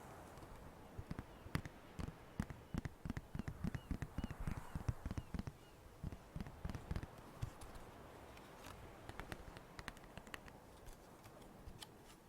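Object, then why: Plastic marker container. A plastic marker container is tapped and moved close to the microphone, giving a run of quick, dry, irregular taps and knocks. The taps are mostly low and dull with short, faint bright clicks on top, denser in the first half and sparser and quieter toward the end over a soft background hiss.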